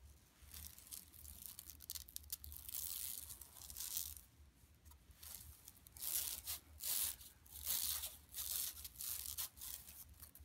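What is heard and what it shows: Long nails on both hands scratch a flat, empty yellow woven plastic mesh tote bag lying on carpet. Bright, dry rasping swells come in uneven bursts with brief pauses between them. A faint low hum runs underneath throughout.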